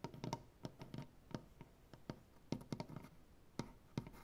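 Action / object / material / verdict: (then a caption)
tap / maple wood tabletop / maple wood / none. Fingernails tap in a ticking rhythm and scratch across a solid, light maple butcher block tabletop. About eighteen short, dry taps with a low, woody knock stand out, with soft scratching between them. Each tap dies away almost instantly.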